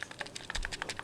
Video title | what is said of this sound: How to spot a fake ps3 controller (white) | if you were to shake it you can hear it you can actually hear buttons moving around